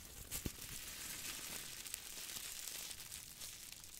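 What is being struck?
Crumpled aluminum foil ball.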